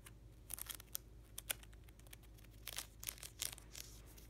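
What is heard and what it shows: Fingertips and short nails scratch and riffle along the edges of a thick stack of plastic card-sleeve pages in a closed black vinyl ring binder for hockey cards, held upright on its edge on a towel. Quick clusters of bright, dry scratchy clicks and crinkly ticks come in short bursts over a steady low hum, with no ring after each touch.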